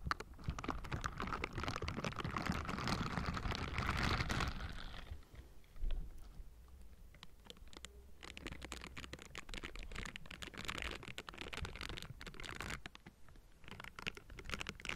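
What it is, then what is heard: Metal mesh microphone grille being scratched. The bristled fingers of pink silicone scrubbing gloves scratch and rub across the hollow metal mesh grille of a Blue Yeti microphone, producing a dense, scratchy rustle with a heavy low rumble and a bright, gritty top. The scraping eases into a quieter stretch around five seconds, broken by a soft thump, then resumes as steady rubbing until the end.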